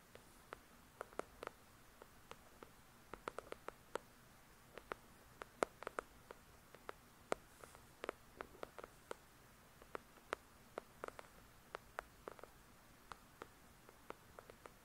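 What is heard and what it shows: Long pointed nails tap quickly on the glossy card cover of a solid paperback novel, "The Shack." About 44 short, dry clicks are heard, irregular and quiet, with no ring. They sit over a faint steady hiss in an otherwise silent space.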